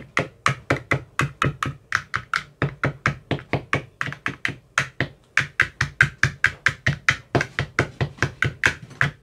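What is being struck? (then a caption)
Plastic ice cube tray with silicone cells. A hand knocks a white-tipped metal rod into the cells of an empty clear plastic ice cube tray with teal silicone cell bottoms. About forty quick, separate taps come at a brisk, slightly uneven pace, each a short hollow knock with a low thump and a bright click that dies away almost at once.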